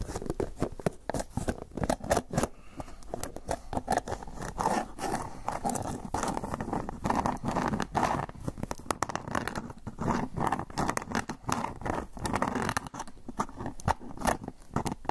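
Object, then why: Plastic food container with lid. Fingernails tap and scratch the sides of an empty, hollow, rectangular clear plastic food container with a lid, held upright. The result is a steady, dense stream of quick, dry clicks and scraping crinkles, with a hollow plastic tone centered in the low-mids, continuing for the full clip.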